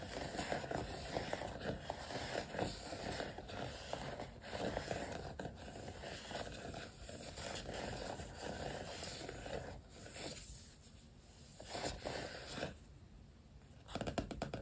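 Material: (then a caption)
Vinyl, card. Fingertips with short nails scratch and tap across the glossy vinyl stickers covering the cover of a black paperback notebook lying flat. Dense, close scratching with scattered sharp taps continues steadily, then eases into a quieter stretch before a brief louder flurry at the end.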